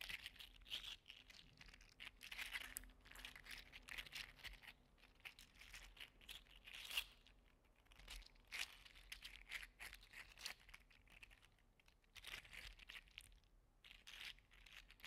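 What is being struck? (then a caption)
3D printed plastic segmented slug toy. A small orange 3D-printed plastic segmented slug toy is flexed and curled in the fingers, so its plastic segments click and rub against each other. The result is a quiet, continuous stream of bright, crinkly clicks and dry scraping, with short louder snaps scattered throughout.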